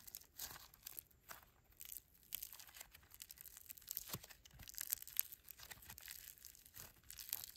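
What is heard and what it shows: A fist-sized lump of solid grey foam bead slime (floam) is pressed, folded and squeezed by thumbs and fingertips. The beads give off a steady run of dense, bright crackling and crinkling pops, close and quiet, with little low end.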